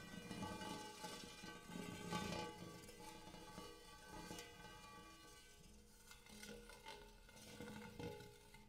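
Fingernails tap the dimpled inner surface and rim of a large, empty, hammered brass-colored metal bowl. Quick, light taps come in an uneven stream, each starting a soft metallic ring with a low hum and layered bright overtones that linger briefly between strikes. The overall sound stays quiet and shimmering throughout.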